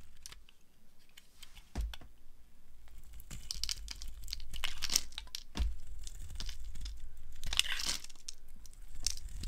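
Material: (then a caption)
Soap. A solid pinkish-mauve dry soap bar is held in the hand while its edges are carved with a flat blade. Crisp, crumbly scraping and flaking cuts come in irregular bursts, bright and crinkly, over a faint low rumble.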